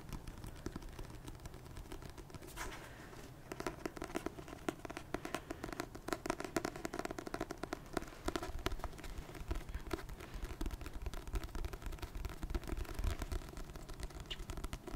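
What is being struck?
Paperback book, paper with card cover.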